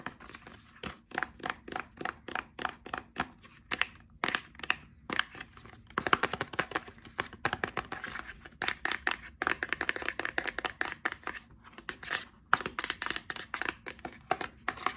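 A small, dark, printed hollow cardboard box for an Axe Dark Temptation product is held in the hands and tapped and scratched with fingertips and short nails. Quick, dry, papery taps and scratchy rustles come in rapid, irregular bursts with brief pauses. Each tap stops at once with no ring, and the sound is light and bright with almost no low end.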